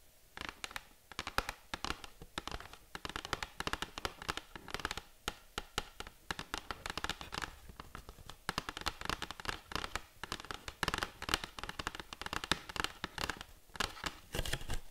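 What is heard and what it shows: A small, hollow, beige printed cardboard box is held in both hands and tapped and scratched with long acrylic nails. Rapid, dry, sharp clicks mix with scratchy rustling in a continuous, uneven flurry of taps for the whole clip, with no speech.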